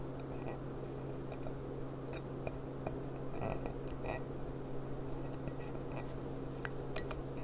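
Long dark nails tap and scratch the bowl of a clear, empty, upside-down glass goblet with a gilt rim and a small sticker. Soft scratching and light, short ticks sit over a steady low hum, with a few brighter clinks near the end.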